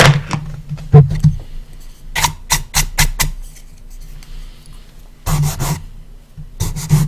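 Fingertips slide across the bare, empty lid of a light wooden coffin-shaped box, producing short, dry, bright rubbing strokes over a steady low hum. The strokes come in irregular bursts, with a quieter gap in the middle before a final cluster of swipes.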